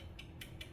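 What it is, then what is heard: Loose worn supercharger drive bushings. Three light metallic clicks ring out as the snout coupler of a Hellcat 2.4 supercharger is tapped where its metal drive bushings sit on the pins. The clicks are short and bright over a low hum. The bushings are worn and loose, sliding in and out instead of fitting snug, which causes the clicking noise.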